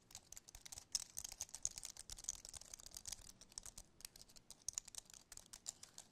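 A compact white wireless keyboard with an aluminum base and plastic keys is held tilted in both hands while fingertips and nails tap and scratch its keys and edges. The result is a quiet, rapid, uneven stream of crisp, bright clicks and scratchy ticks, with almost no low end and each tap dying away almost instantly.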